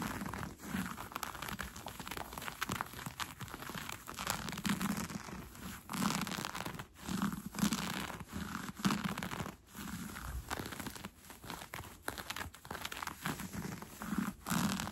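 Fingertips and nails scratch and pull at a pair of brown cotton fleece sweatpants being worn, working along the fabric and the elastic waistband. Steady soft rustling and dry scratching come in uneven bursts, with brighter crinkly strokes and a low, muffled body underneath, broken by brief pauses.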